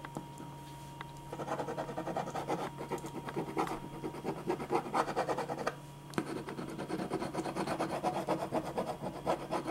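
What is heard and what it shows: A black pen makes dense, repeated scratching strokes across a single thin white sheet of drawing paper lying flat on a dark board. Quick, uneven bursts of dry scratching and rubbing rise and fall over a steady low hum, with brief quiet pauses around the first second and just before the sixth second.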